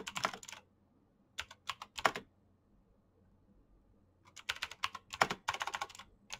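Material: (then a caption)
Plastic. Fingertips type quickly on a black plastic mechanical keyboard with clicky switches, producing bright, sharp clicks in irregular bursts. The keystrokes stop for about a second and a half in the middle, then resume in a denser flurry. Each click is crisp and dies away almost instantly.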